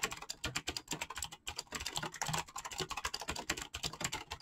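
Fingertips type rapidly on a full-size backlit mechanical keyboard with PBT plastic keycaps. A fast, steady stream of short, bright clacks with a little low thock beneath each one, each click dying away almost instantly.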